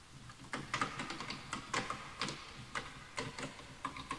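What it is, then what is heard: Bamboo wooden keyboard. Fingertips type on a full-size bamboo wood computer keyboard with wooden keys, while the mouse is left untouched. Quick, uneven clicks land one after another, each a short, hollow wooden tap with a bright edge and a faint ringing tone near 1.2 kHz. Each tap dies away almost at once over a quiet background.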